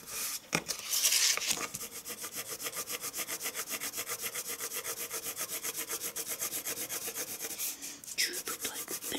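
A wooden pencil shades white drawing paper resting on a wooden table, moving in fast, steady back-and-forth strokes. The scratching has a dry, bright, hissy quality that keeps up a quick regular rhythm. A few louder rubbing sounds come at the start and again near the end.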